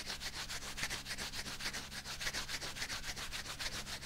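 Bare fingers rub back and forth over the fingers of a thin, flexible light green rubber dishwashing glove worn on the other hand. The rubbing is continuous, with bright, scratchy swishing strokes repeating at a quick, fairly steady pace over a faint low hum.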